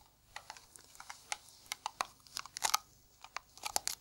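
A round, hollow blue Nivea metal tin is tapped on its lid with bare fingertips and gloved fingers. The result is a run of irregular, short, dry clicks and ticks with a bright, thin metallic edge and almost no low end or ring.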